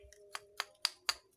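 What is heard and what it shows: The loose shell of a coconut bonsai is tapped four times, giving sharp, bright, hollow clicks. A low steady tone hums underneath. The clear, ringing sound shows the shell is empty, with its nutrients used up, so it detached normally.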